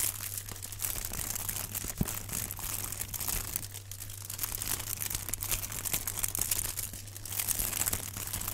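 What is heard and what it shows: A rectangular block wrapped in crinkled aluminum foil is held in both hands while gloved fingertips squeeze and rub the foil. This produces a continuous stream of bright, crackling crinkles that swell and ease over the clip, with a sharp snap near two seconds. A steady low hum runs underneath throughout.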